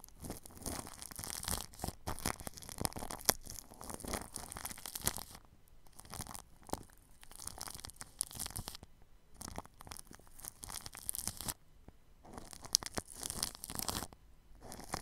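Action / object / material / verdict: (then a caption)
scrape / plastic cling film stretched over a microphone / plastic film / none. A paintbrush with white bristles brushes and scratches along the lower edge of clear plastic cling film wrapped over a round microphone grille. It makes dense, bright, crinkly scratching and rustling in bursts, separated by a few brief quieter pauses.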